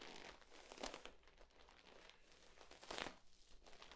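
A hollow, ribbed, flexible yellow corrugated plastic tube is compressed and bent by hands, its ribs crinkling. The result is a dense, bright crinkling and crackling texture that swells into two louder bursts, one near the start and one near the end.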